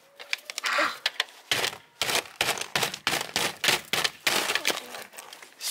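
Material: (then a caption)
Ice. A child repeatedly taps and strikes a solid, flat slab of ice lying on an outdoor table with a toy hammer that has a yellow head and a long handle. Sharp, bright cracking and tapping hits follow one another, each crunchy and short with almost no low end. The blows crack the ice.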